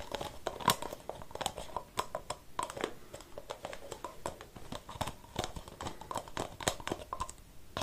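Fingertips tap and scratch a blue and white metal aerosol spray can and its white plastic cap, which stays on, while the can is held in one hand. A quiet, quick, irregular stream of light clicky taps and crinkly scratches follows, with a faint ringing tone near 1 kHz. Each tap dies away almost at once.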